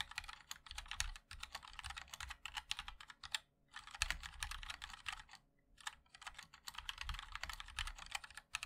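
Fingertips of both hands type continuously on a compact 60% MOD-L mechanical keyboard with a black case, white and black plastic keycaps and linear switches. Rapid, bright, dry clacks with a soft low thud underneath stream along, each click stopping instantly, with brief pauses near the 3.5 and 5.5 second marks.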